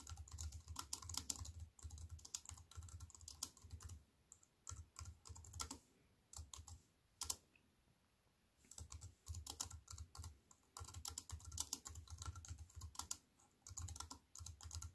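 Fast typing with fingertips and nails on a compact wireless keyboard with black plastic keys in a thin silver aluminium frame, resting on a wooden table. Dense bursts of bright, crisp clicks over a low thud from the keys, with short pauses in the typing near 4, 6 and 8 seconds. Each click dies away almost instantly.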